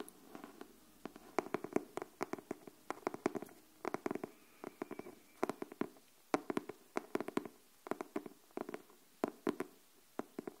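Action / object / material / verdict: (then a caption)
tap / cardboard hardcover notebook / cardboard / none. Long fingernails on both hands tap the cover of a pink cardboard hardcover paper notebook held upright. The result is a quiet, irregular run of short, dry clicks with a mid-low body around 300 Hz and no ring, falling in quick clusters separated by brief pauses.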